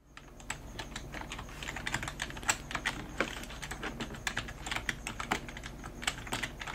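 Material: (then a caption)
Plastic. Both hands type rapidly on a full-size black plastic computer keyboard with a hollow body and keys, using long dark-painted nails and fingertips. The result is a quick, uneven stream of sharp, bright plastic key taps that die away almost instantly, with a few louder clacks standing out.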